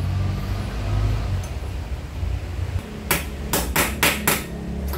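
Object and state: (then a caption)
Fully seated steel steering bearing race. A new steel ball race cone is hammered into a Yamaha NMAX V1 motorcycle steering head through the old race. After a low rumbling stretch, five sharp, crisp metallic hammer strikes ring out with a bright snap and short decay. The crisp sound shows the cone is fully seated.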